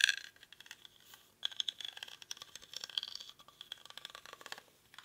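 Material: Rattan.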